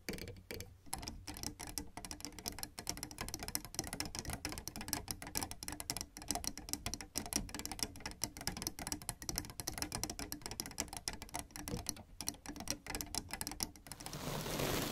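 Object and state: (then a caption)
Plastic piano keys. Black and white plastic piano keyboard keys are tapped rapidly with fingertips and nails, giving a dense run of dry, clicky, typewriter-like taps that die away almost instantly. The tapping goes on for about 14 seconds and then gives way to a steady, brighter hiss for the final second.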